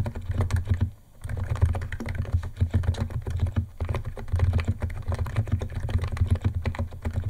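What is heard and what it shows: Fingertips of both hands type fast on a white compact 68-key Niz ATOM 68 keyboard with electro-capacitive switches, white plastic keycaps and a plastic case, resting on a wooden desk. A dense, steady stream of short, deep, thocky keystrokes with a low hum underneath, pausing briefly near the first and fourth seconds.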